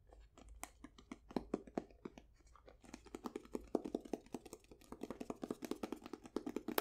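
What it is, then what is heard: Wooden folding chess box. A painted wooden folding chess box, held upright, has its checkered face tapped and scratched with long nails. Quick, dry, crisp clicks and light scratchy crackles come in an irregular stream that grows denser and louder about halfway through. Each tap dies away almost instantly.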